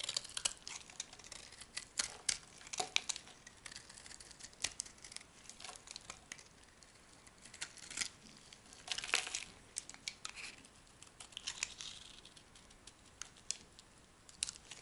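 An oblong, solid, cream-colored soap bar held in the palm is shaved into curls with a metal knife blade. The result is a quiet run of dry, crisp scraping and crinkling strokes, bright and high with almost no low end. Each cut is short and sharp, with brief louder bursts scattered throughout.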